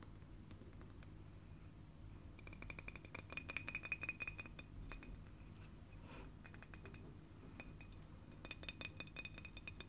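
A small, full dark glass bottle of blueberry juice with a screw cap is held in the hands while long painted fingernails tap its cap and body. Quick, irregular clicks and bright glassy ticks ring briefly over a low background hum, clustering in busy bursts around the middle and near the end.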